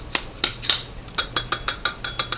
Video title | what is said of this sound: Temu Tuesday Haul - Mystery Gift haul -Who sent it? - Not sponsored | you can hear that it's hollow.